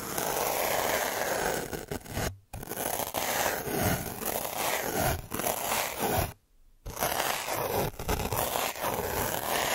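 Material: Paper, metal.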